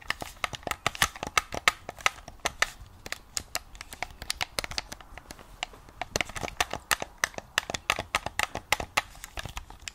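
Long nails tap and scratch the top surface and touchpad of a hollow white plastic game controller. Rapid, dry, clicky taps with bright, crinkly scratching between them, each tap dying out almost at once, with little low end and a tonal peak near 1.3 kHz.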